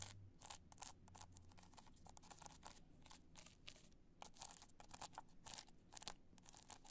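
Long nails scratch rapidly across the studs of a black multicolor rhinestone hard-shell clutch as it is held upright and then tilted. The result is quiet, dense, bright scratching and clicking in quick bursts over a faint low hum.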